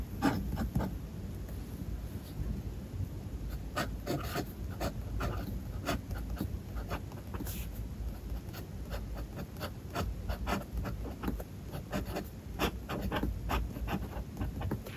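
A fountain pen's metal nib writes continuously across a page of a spiral-bound paper notebook. It makes a steady, soft scratching with a low rustling body and frequent brief bright nib strokes throughout the clip.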